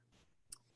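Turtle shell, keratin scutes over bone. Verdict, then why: Hard. A single tap on a hard turtle shell from a disarticulated turtle skeleton, its keratin scutes over bone. The tap gives one short, sharp tack with a bright high click and almost no ring, over a quiet low background.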